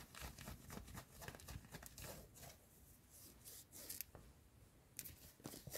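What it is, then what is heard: Cotton hoodie fabric. Long nails scratch and rub a worn yellow cotton hoodie, first across the chest and then along the sleeve. The result is a fast, irregular run of dry, bright scratching strokes with rough, crinkly fabric noise.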